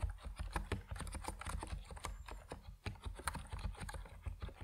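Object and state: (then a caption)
Plastic mechanical keyboard being typed on. A compact Epomaker NiZ Plum Atom 68 plastic mechanical keyboard with white and purple PBT keycaps is typed on steadily by fingertips. A quick stream of short, dull clacks, about 21 keystrokes in under five seconds, sits over a deep low-end thud, with each stroke dying away almost instantly.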